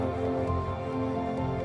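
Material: Nothing is struck.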